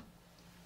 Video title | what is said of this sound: 5 Ways to Trim a Cup or Cylinder on the Wheel- Demos Explained! (And Two Additional Bonus Methods!) | Sometimes when you tap, you can hear a difference. Sometimes you can feel a difference.